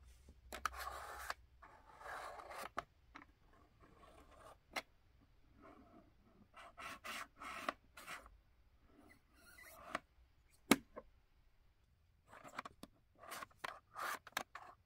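Fingertips press and slide across the three ridged lenticular picture strips set in the orange frame on the side of a large hollow plastic baby activity cube, rubbing and scratching the plastic. Short, bright rasping scrapes come in bursts, broken by quiet gaps and a few sharp dry clicks.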